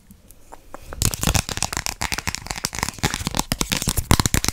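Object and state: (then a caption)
Plastic card tapped and scratched. A small, thin, solid pink plastic gift card with a ring logo is held in both hands and quickly tapped and scratched with long pink acrylic nails. After a quiet first second of faint clicks, a dense run of sharp, dry plastic taps and scraping bursts continues to the end.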